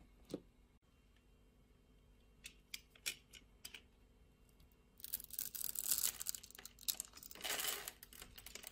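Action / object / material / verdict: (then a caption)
scrape / glycerin soap bar scraped with a metal blade / glycerin soap / none. A metal utility-knife blade scrapes across a palm-sized, solid, translucent red glycerin soap bar with a grid-scored surface, held in a hand with long painted nails, popping off small cubes. A few sparse, crisp clicks and snaps come first, then the sound turns into dense, bright crackling and crumbly scraping. It swells loudest near the end.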